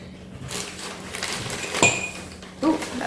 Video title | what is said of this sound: Mystery Unboxing - Amazing VINTAGE Treasures - Reselling | Oh, that sounds like glass.